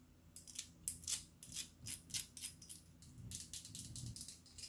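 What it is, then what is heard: Glass perfume bottle. A clear glass perfume bottle, hollow and partly filled with liquid and fitted with a rhinestone-studded collar, is held close to the mic and tapped and scratched with long black acrylic nails. Bright, clicky taps and scratchy strokes land in quick succession, some spaced apart and others running into a denser stretch of scratching, over a faint low hum.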